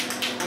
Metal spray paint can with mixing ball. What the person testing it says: when you hear the ball rattle you still have to shake it for like another minute